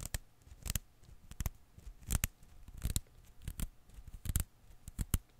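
A single blue and green Koosh ball of thin rubber filaments rests in one palm while fingertips pinch, pull and release bundles of its strands. This produces a quiet, irregular series of short, dry snaps and soft flicks, each with a low thump and a brief bright crackle that dies away almost instantly.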